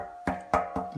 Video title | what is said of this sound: Pressure Tank Test | solid down below. The tank is probably not failed.